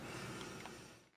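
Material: Nothing is struck.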